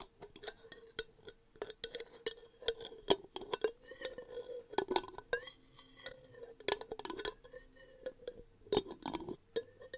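A medium clear glass jar with a paper label and lid, apparently empty, is held in one hand and tapped on its lid and sides with long painted nails close to the microphone. Quick, irregular clinks and clicks ring briefly over a steady tone of around 400 Hz, with bright, glassy overtones.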